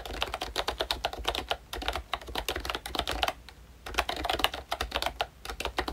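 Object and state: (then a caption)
Plastic membrane keyboard with round keycaps. Fingertips of both hands type on a full-size pink ROYCHE Disney Mickey Mouse retro keyboard with a plastic case, round dark green plastic keycaps and membrane switches. Quick, dry plastic clicks come in bursts of about 35 keystrokes, with brief pauses near 1.7 and 3.5 seconds. Each tap is bright with a peak around 2.9 kHz and dies away almost instantly.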